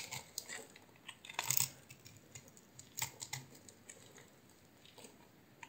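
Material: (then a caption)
Soap. A solid green, hand-sized oval bar of soap is held in one hand and carved with a utility knife blade, its shavings falling onto a bed of soap flakes. About eighteen short, crisp, bright scraping and cutting ticks come at an uneven pace, with the loudest cluster early on, over a quiet hiss.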